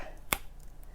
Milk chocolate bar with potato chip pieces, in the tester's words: good snap I don't know if that was potato chip snap or chocolate snap or a little bit of both